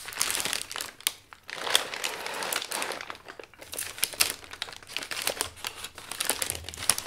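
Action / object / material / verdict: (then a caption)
scrape / kraft paper sheets / paper / none. Hands wearing rings fold and flatten thin, creased brown kraft packing paper sheets over a flat object. The result is dense, bright crinkling and crackling in uneven bursts with almost no low end, broken by brief quieter pauses.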